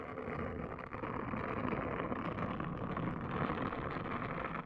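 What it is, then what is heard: Silicone scalp brush scrubbed on a woven mat. A pink, palm-sized, hollow-domed silicone hair washing brush is scrubbed across a woven placemat by a hand with long nails, while the nails scratch the brush's dome. The result is a steady, dense, scratchy rubbing texture concentrated in the low and middle range, with little high content and brief dips between strokes.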